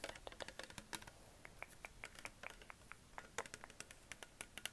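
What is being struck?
Plastic water bottle.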